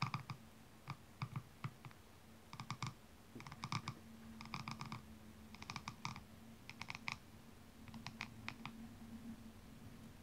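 A single blue rhinestone-covered high heel shoe, held upside down with its red sole showing, has a slim metallic tool scratched along the back of its heel. Quick bursts of bright, clicky scratching come in short clusters over a low, steady hum.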